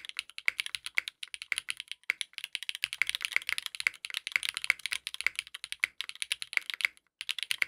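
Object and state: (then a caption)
Mechanical keyboard with plastic keycaps. Continuous two-handed fingertip typing on a compact 60% mechanical keyboard with a dark purple case, purple ABS plastic keycaps and a polycarbonate plate, resting on a desk mat. The keystrokes are rapid, short, bright clicks and clacks, concentrated around 2 kHz with high sparkle and almost no low end. They run in quick bursts with only brief pauses.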